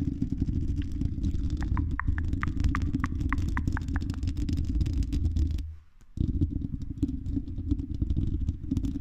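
Long red acrylic nails scratch across the silver mesh metal grille of a condenser microphone's hollow dome, producing a dense, low, rumbling scrape with rapid clattering texture. Between about 1.5 and 4 seconds, a quick series of short, bright ticks rides on top. The scratching drops out briefly near 6 seconds, then resumes at the same steady level.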